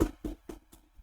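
Knuckles knock four times on the case of a Windows desktop computer. The knocks are short, dull, hollow thuds centred low in pitch, with almost no ring, and each one is quieter than the last.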